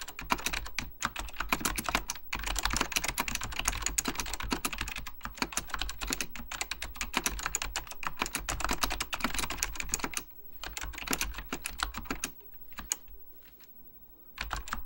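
Fingertips type continuously on a beige plastic full-size Apple Extended Keyboard II, its hollow plastic keycaps over mechanical switches giving a dense stream of sharp, bright clacks with short decays. The typing runs steadily, then thins out with brief pauses near the end before picking back up.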